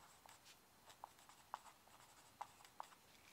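A mechanical pencil held in the hand writes across a sheet of yellow lined legal pad paper lying flat on a wooden desk, its graphite tip scratching the paper. Quiet, bright scratching strokes are broken by a few short, sharp ticks with a mid-pitched edge, each dying away at once.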